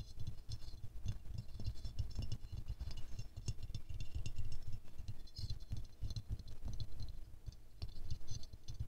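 Fingernails tap fast on the petals of a small silver-glazed ceramic rose figurine held in the hands, making a rattling sound. Rapid, dense clicks run steadily throughout, with soft low thuds and bright edges on each tap.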